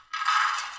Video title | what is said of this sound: دہی فلکی گھر میں بنانے کا آسان طریقہ - کریسپی اور نرم | you will also know from the sound of these, see how crispy they are fried